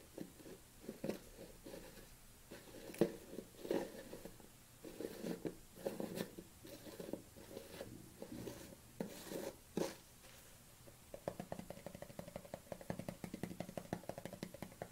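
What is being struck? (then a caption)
Plastic supplement tub. Fingernails tap and rub along the side and label of a black plastic supplement tub held at a tilt. Soft, scratchy rubbing strokes alternate with scattered sharper hollow taps, ending in a quick run of light, rapid taps. The sound is dry and quiet, with a low-mid plastic body and little ring.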